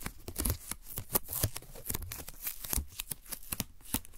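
A wide strip of thin, translucent white paper masking tape, held in both hands, is folded and stuck to itself, then peeled apart with the fingers. It makes a rapid series of short, dry crackling peels and papery crinkles with bright, crisp tops and soft low thumps.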